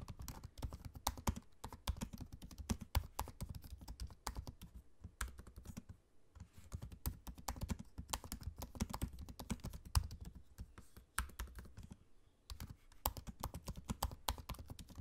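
Fingertips of both hands type on the low-profile black plastic keys of a space-grey aluminium laptop. Rapid, soft, dull clicks and thuds run throughout, with brief pauses around 6 and 12 seconds and occasional sharper taps.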